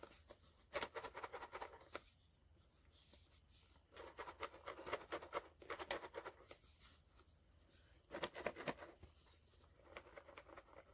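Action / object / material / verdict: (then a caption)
shake / cardboard box with vinyl figure inside / cardboard, vinyl / secret figure. A sealed POP MART SKULLPANDA The Sound cardboard blind box, holding a vinyl figure, is shaken as a shake test for finding the secret figure. It gives three bursts of light, dry rattling and scratching with quiet gaps between. The box turns out to hold the secret hidden figure, The Equilibrium.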